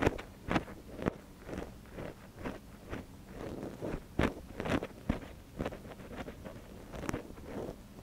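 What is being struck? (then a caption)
Silicone microphone ear and thin wooden stick. A thin wooden stick, held in one gloved hand, scratches inside the canal of a small, soft silicone ear on a binaural microphone. Close, muffled scratching and rustling strokes arrive about twice a second at an uneven pace, with a few sharper clicks and scrapes. Most of the sound sits in the low and middle range, with little high-end brightness.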